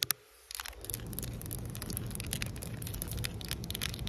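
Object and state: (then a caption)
Solid concrete pavement. Long nails tap and scratch flat, solid outdoor concrete pavement. Two sharp, bright taps open the clip, followed by a brief quiet pause. Then a steady, dense scratching and rasping sets in, with a low rumble underneath and quick clicks scattered throughout.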